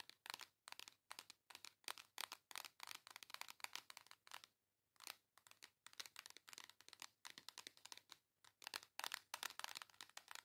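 Long acrylic nails scratch and tap quickly across the printed cover of a flat, hand-sized pink cardboard face palette. The result is a steady stream of short, dry, bright crinkly scratches and clicks with no low end, pausing briefly near the middle before resuming. The sound is quiet overall.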